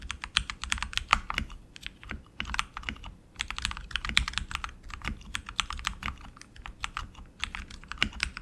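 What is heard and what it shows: Both hands type continuously with their fingertips on a tenkeyless RGB mechanical keyboard with tactile switches and plastic keycaps on an aluminum frame. The result is a steady stream of short, bright clicks and clacks in uneven bursts, with brief pauses between runs and a faint low hum underneath.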